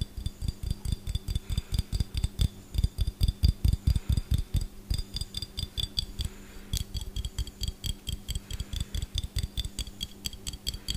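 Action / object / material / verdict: tap / glass jar with metal screw lid / glass, metal / none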